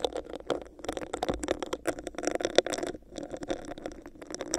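Long acrylic nails tap and scratch a hollow, clear, bumpy textured plastic cup placed over a microphone. Quick, dry clicks and raspy scrapes come in an uneven stream, with a hollow midrange tone around 500 Hz, bright crackly edges and almost no low end. Each tap stops short with no lingering ring.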